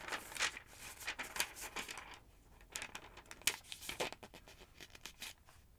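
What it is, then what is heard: Paper phonebook pages turned. Thin pages of a large, thick, yellow-paged paper phonebook lying open on a wooden table are turned and flipped with long acrylic nails and fingertips. The result is a quiet run of crisp, bright rustles and papery crinkles with short flicks and scratches, with almost no low end and little ring after each movement.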